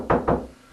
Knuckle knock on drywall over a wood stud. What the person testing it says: That high pitch? That's where a stud is.